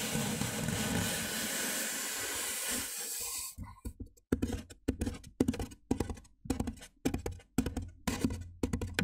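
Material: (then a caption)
Styrofoam. Fingertips and nails of both hands tap the top edge of a large white hollow styrofoam box. A steady broadband hiss fills the first few seconds, then gives way to quick bursts of dull, hollow, muffled taps with a low body and short, dry decay. The taps come in uneven clusters with brief silences between them.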